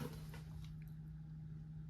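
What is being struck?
Nothing is struck.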